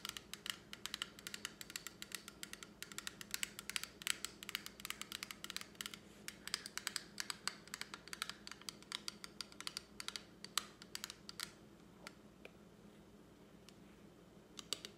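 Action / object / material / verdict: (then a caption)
tap / small plastic lipstick palette with hinged lid / plastic / none. A small rectangular plastic lipstick palette, with a clear hinged lid and pink shades inside, is tapped and scratched with long acrylic nails, and the lid is opened along the way. Dense, quick, bright clicks and scratches fill most of the clip, with little low end beneath. After about 12 seconds they thin out to a few sparse taps.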